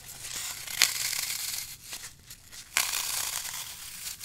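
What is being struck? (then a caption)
Green floral foam block. A small slab of dry, solid, brittle green floral foam (phenolic foam) is held in the hand while fingertips and thumbs press into it, crushing it and leaving dents. The result is a steady, bright, crunchy crackling, with two sharper, louder cracks standing out as the foam gives way.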